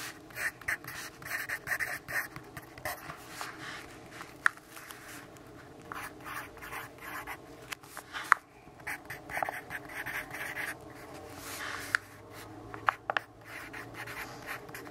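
A wooden pencil scratches writing onto a lined paper notebook page held flat by the fingertips. Soft, dry scratching strokes come in short bursts over a faint hiss, with a few sharp ticks where the pencil strikes the page.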